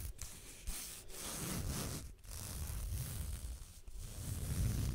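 Fingertips rub and scratch the strap of a blue leather belt with a tan underside, held vertically in front of the microphone. A steady, close-up rubbing and scratching texture is heard, mostly low and muffled with faint bright scratchy edges, broken by a few brief pauses between strokes.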